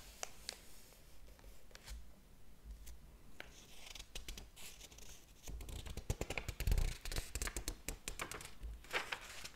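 A large, thick hardcover book lies open on a table as fingertips lift and flip its paper pages one at a time, each page curling as it turns. Soft, crisp rustles and bright, short swishes sound over a steady low hum, becoming louder and busier about halfway through as the pages turn in quicker succession.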